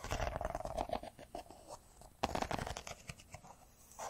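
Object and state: Smartphone with metal-and-glass body.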